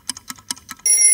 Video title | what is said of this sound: Dieses Vollkornmehl haben schon die Römer verwendet - Ein Emmer Vollkornbrot wie vor 10.000 Jahren | Jetzt noch schnell die Klopfprobe gemacht. Und das klingt doch richtig hohl. Klasse.